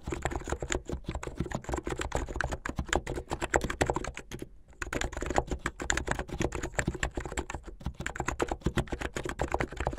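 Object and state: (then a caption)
Plastic mechanical keyboard. Fingertips of both hands type fast on a plastic mechanical keyboard with white and blue plastic keycaps and LED underglow. A dense, rapid stream of short, clacky keystrokes with a deep, thocky low end carries on throughout, broken by a brief pause around 4.5 seconds.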